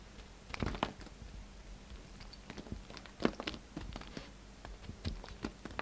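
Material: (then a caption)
Soap. A hand-held, hand-sized solid pink-and-white bar of soap is carved into flakes with the steel blade of a yellow utility knife. The quiet clip is a string of short, crisp scraping and cutting crunches with brief bright edges and almost no ring. A faint steady low hum runs underneath.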